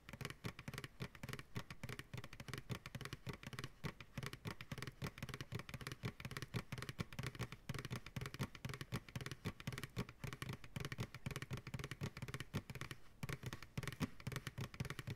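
Fingertips and short nails tap rapidly on the base and sides of a large, hollow, empty white plastic ice cream pail with a wire handle, held upside down on a lap. The taps produce a dense, steady stream of quick, dry, hollow thumps with a low drum-like body around 133 Hz and a light clatter on top, each dying away almost at once, throughout the 15 seconds.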